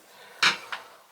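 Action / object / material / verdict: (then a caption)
knock / shower valve part, metal / metal / none. Two sharp metallic clinks ring out from an old metal Symmons tub/shower valve part, taken off another job, as it is knocked. The first knock is louder and the second is quieter. Both are bright, high-pitched, pots-and-pans-like taps that die away quickly and confirm the part is metal rather than the breakable plastic kind.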